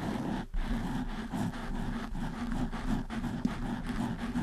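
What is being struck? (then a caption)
Foam microphone windscreen. Long nails scratch and rub the sides of a black foam windscreen on a desktop microphone. The result is a steady, muffled, low rumbling scrape with little bright content. There is a brief dip just before half a second and a short sharp bump near 3.4 seconds.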